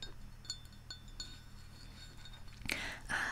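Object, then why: Ceramic mug. Long manicured nails tap the rim and side of a large white ceramic Central Perk mug with a yellow interior, hollow and partly filled with tea. Light, bright clinks ring briefly over a steady low hum. Near the end, louder, broader bursts of brushing noise take over.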